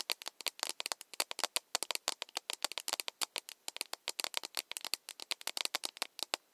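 An empty, hollow plastic mug with a handle is held in the hands while its body is tapped with long nails. The result is a fast, irregular stream of dry, bright clicking taps with no low end, each dying away almost instantly.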